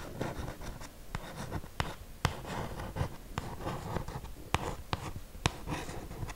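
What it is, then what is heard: Cardboard perfume box. Long green acrylic nails scratch and tap on a white printed cardboard box for a 50 ml perfume, likely with the bottle inside. Dry, continuous scratching is broken by about ten short, sharp taps that end almost at once.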